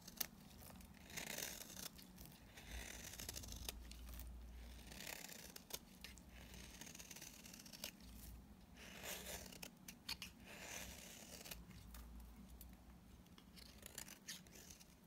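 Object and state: Dry bar soap being scraped.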